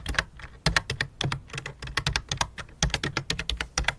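Both hands type rapidly with fingertips and long dark-painted nails on a full-size white and light-blue plastic membrane keyboard with a hollow plastic case, lying flat on a black cloth. The rapid key taps come as a dense run of short, sharp clicks, each with a bright, clacky top and a low hollow thud, dying away almost instantly. The taps arrive in uneven bursts with brief pauses.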